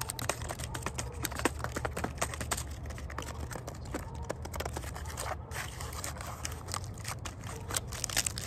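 Fingers tap rapidly on the bark of a tree trunk outdoors in a park, producing dense, dry clicks and crackly scratches as splinters and bits of bark break off. A steady low outdoor rumble sits beneath the bright, crisp taps throughout.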